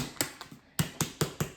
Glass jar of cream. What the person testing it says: you really can't hear it when you shake it but it's still moving